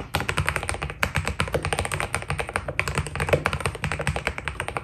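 Fingertips type fast on a white Keydous NJ80 mechanical keyboard with PBT plastic keycaps. A rapid, steady stream of short, crisp key taps blends bright clacks with a deeper, rounded thock, each press dying away almost instantly.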